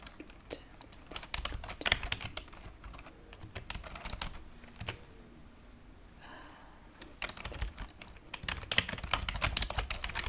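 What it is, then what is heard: Plastic computer keyboard being typed on. Long painted fingernails and fingertips type rapidly on a white plastic computer keyboard with low-profile keys lying on a wooden table. Bursts of sharp, bright, dry clicks and taps come in irregular clusters, with a quieter pause in the middle before the fast typing resumes.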